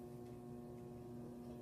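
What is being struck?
Nothing is struck.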